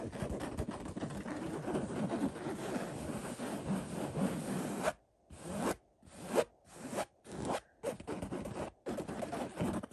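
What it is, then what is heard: Cotton throw pillow being scratched. Fingertips and short nails of both hands scratch quickly across a cotton floral throw pillow with a floral-print woven fabric cover. A dense, continuous rasping scratch fills the first five seconds, then breaks into short scratching bursts separated by brief silences. The sound stays soft and mid-toned, with little high-end brightness.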